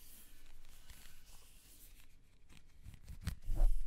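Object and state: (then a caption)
Plastic corrugated hose. Long red nails scratch and rub along the corrugations of a hollow, black ribbed plastic vacuum-style hose. The result is soft, dry raspy scratching over a low rumble, with brief bright ticks. It grows louder and more thumpy toward the end.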